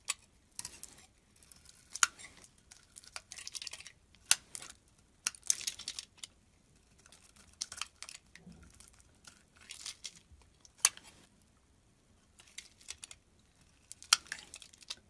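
A solid cream-colored soap bar, held in both hands, has its edges beveled and shaved with a metal utility knife blade. The clip is full of crisp, bright scraping and crackling bursts with quiet gaps between them, and almost no low end. Each cut stops dead with no ring.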